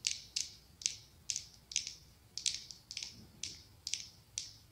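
Long acrylic nails tap and scratch the ribbed glass of a medium pumpkin-shaped glass candle jar filled with orange wax. The result is a steady run of quiet, sharp, bright clicks with almost no low end, each stopping dry with no ringing.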